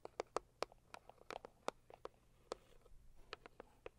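Long acrylic nails on both hands tap the lid of a medium, hollow pink floral Saviland cardboard gift box. About sixteen quick, dry, hollow clicks sound in an uneven pattern, each centered near 470 Hz with a bright edge and almost no ring. A quiet papery scratching sits between the taps.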